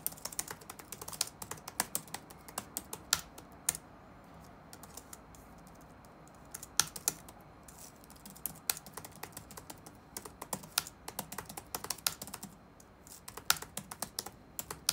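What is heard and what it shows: Fingertips type rapidly on the black plastic keys of an open laptop sitting on a wooden desk. Dense bursts of short, bright clicks come with brief pauses between them, and each tap dies away almost at once over a quiet background hiss.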